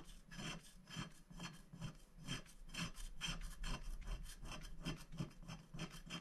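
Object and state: Scratch-art paper being scraped.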